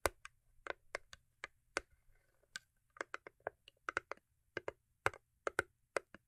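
Long acrylic nails tap and scratch on the top of a small, hollow cardboard cube gift box covered in holographic paper. About 23 quick, dry clicks come in an uneven rhythm, with a faint scratching rustle between them. Each tap dies away almost at once, with no ring.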